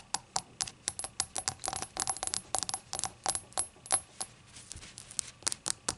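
Long acrylic nails tap about two dozen times on a small, hollow, seemingly empty ceramic novelty shot glass with a rainbow glaze and an unglazed labeled base, resting on a towel. The nails strike both the glaze and the base, making quick, bright, clicky ticks with a faint high ring that dies away almost at once.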